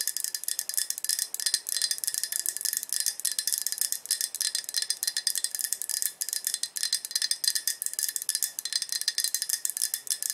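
A medium-sized, light green glazed ceramic coffee mug, hollow and partly filled with coffee, is held in both hands and tapped on its sides with long acrylic nails. The rapid, steady tapping produces bright, bell-like ringing clicks that die away almost instantly. There is no low-end body to the sound.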